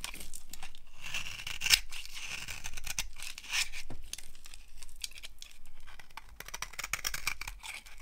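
A yellow-handled blade scrapes crunchy flakes off a solid, dry, brown translucent soap bar held in the palm. Dry, crisp scraping and crackling strokes, bright and gritty, come in short bursts with brief pauses for the full eight seconds.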